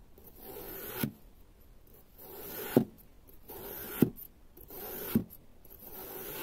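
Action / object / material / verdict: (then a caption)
scrape / moulded block of kinetic sand cut with a serrated knife / kinetic sand / none. A long serrated metal knife repeatedly slices down through a solid, palm-sized, flower-shaped waffle block of pale yellow kinetic sand resting on a pink mat, cutting it into thin strips. Each slice gives a soft, gritty rasp that builds and ends in a short crisp crunch as the blade meets the mat, four times in all.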